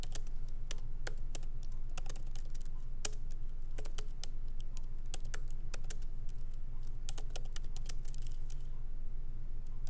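Both hands type continuously with fingertips on a MacBook Pro keyboard, its low-profile plastic keys set in a solid aluminum body. Irregular, crisp key clicks run through the whole clip at a steady typing pace. Underneath them sits a constant low hum.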